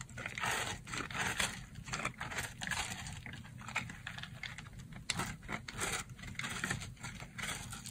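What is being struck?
Block of soap.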